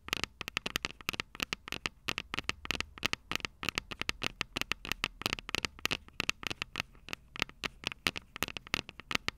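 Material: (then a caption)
Metal. Long purple nails rapidly tap and scratch the small, hollow, silver metal microphone capsules of a Tascam DR-05 recorder. Dozens of sharp, dry clicks and scrapes sit mostly in the bright upper range, with a tinny metallic ring around 2.7 kHz. Each hit stops almost instantly, with faint crackle between them.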